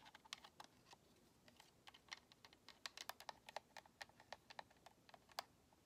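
Long nails tap a white, hollow plastic Xbox controller, clicking on the shell and the purple thumbstick grips. About 29 quiet, sharp taps come in an irregular run, each a short, bright click with almost no low end and no ring.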